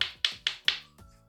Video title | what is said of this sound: FAÇA ESSE PÃOZINHO QUE JÁ SAI RECHEADO! RECEITA COM POUCOS INGREDIENTES E COM DICAS DE CONGELAMENTO! | quando eles estão congelados eles ficam assim com esse som de pedra